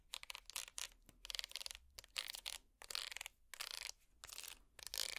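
A small, empty woven wicker basket held upside down is scratched with plastic finger picks. Quick bursts of dry, bright, crackly scratching come and go with short silent gaps between strokes. The sound is quiet and has almost no low end.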